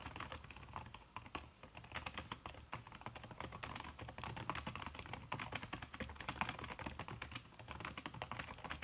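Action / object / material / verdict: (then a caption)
tap / laptop keyboard with silicone skin over plastic keys / silicone / none. Fast typing with fingertips and long red-painted nails on a backlit aluminium laptop keyboard whose plastic keys are covered by a red silicone skin. Dense, rapid soft clicks and taps run steadily throughout, with short bright transients over a low, muffled thump.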